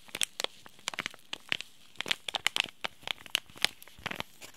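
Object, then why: Laminated plastic-foil tea bag sachet. A small, sealed, green laminated plastic-and-foil tea bag sachet is crinkled and squeezed with the fingertips. About sixteen sharp, separate crackles and crinkles come in a quick, irregular series. Each one is bright and high, with almost no low end, and stops instantly.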